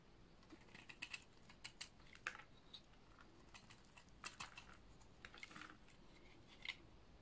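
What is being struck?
Bar of soap shaved with a blade.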